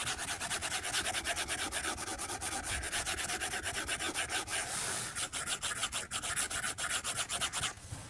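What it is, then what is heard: Glass tablet screen. A white plastic stylus tip strokes and taps across the glass screen of a tablet lying flat on a desk. It makes a fast, steady run of short, bright, scratchy rubs, with a smoother continuous swipe near the middle, before the strokes trail off at the end.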